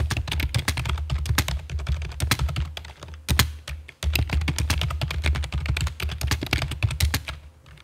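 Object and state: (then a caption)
Plastic computer keyboard being typed on. A full-size black plastic computer keyboard with a hollow body sits on a stone table while long fake nails and fingertips type rapid taps across its keycaps. The sound is a dense run of short, chunky clicks and clacks with a deep, hollow low thump under each keystroke and brief bright ticks on top. There is a short pause near the middle before the steady typing resumes.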